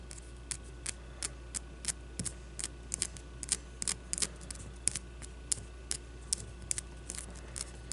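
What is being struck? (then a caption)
Leather baseball. A solid white leather baseball is turned between the hands while long nails scratch and tap its surface. The result is a quiet series of short, bright, crisp clicks and scrapes at irregular intervals over a steady low hum.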